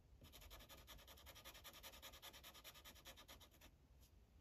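A yellow felt-tip Sharpie marker rubs over a thin printed paper coloring page resting on a hard clipboard, coloring in short back-and-forth strokes. The result is a quick, steady series of soft, bright scratchy swishes that stop just before the end, followed by one faint final stroke.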